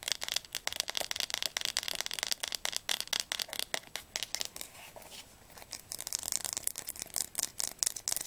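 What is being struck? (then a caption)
Hardcover book spine. Long nails tap and scratch rapidly along the spine of a blue atlas with a red publisher label. Many quick, bright, dry clicks and scratchy scrapes are heard, with little low end. They ease off briefly around the fifth second, then resume.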